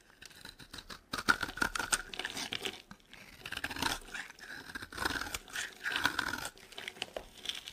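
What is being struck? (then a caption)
Bar of soap scraped with a metal blade. A metal blade scrapes and carves a solid, dry green soap bar while fingers with long nails handle it. Crisp, crumbly scraping and crinkly tearing come in short bursts and strokes with brief pauses between them. The sound is dry and bright with very little low end.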